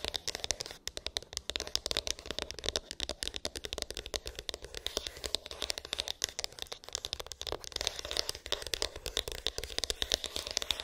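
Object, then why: Small cardboard phone box. Long pink acrylic nails tap and scratch a small, hollow white cardboard iPhone box with an embossed, textured lid; its contents are unknown. The clip is a dense, steady stream of quick, crisp clicks and scratchy rasps, mostly high and bright with little low end. Each tap stops dead with no ring.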